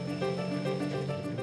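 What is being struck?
Nothing is struck.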